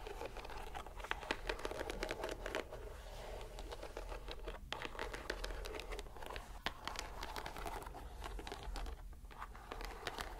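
A green, palm-sized squishy rubber stress ball inside a white net is squeezed and released by hand. It makes a dense, continuous run of soft crinkling, crackling and squelching clicks with a bright edge, over a steady low hum.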